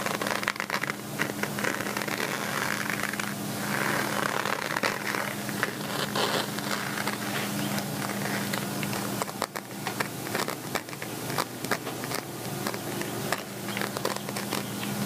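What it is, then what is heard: Woven metallic fabric pouch, scratched and tapped. A small flat gold cosmetic zip pouch with a woven chevron, straw-like metallic fabric front and a satin top band is held up and scratched and tapped with fingertips and manicured nails. A dense, dry crackling scrape runs throughout, broken by many sharp, bright clicks from the nails. A faint steady low hum sits underneath.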